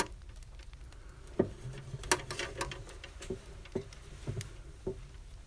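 A small hollow brass box with a latch is tapped and scratched with fingertips and nails along its sides and lid edge. Soft, irregular taps each give a brief, dull metallic ping around 370 Hz, mixed with dry, bright scratching over a faint low rumble.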